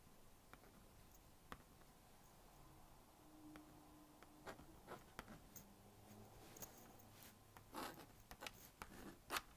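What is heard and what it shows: A plastic magnetic stylus scratches circles and lines on the honeycomb screen of a small blue-and-pink plastic magnetic drawing board. Quiet, dry scratching and rubbing strokes are broken by short, bright clicks and taps, which grow more frequent and a little louder toward the end.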